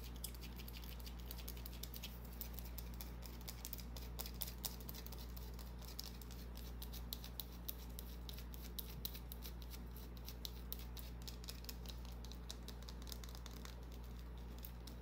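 Long painted nails scratch and tap a small, solid white bar of soap held in the hand, shaving off flakes. Quick, dry, bright scratches and light clicking taps repeat throughout over a steady low hum.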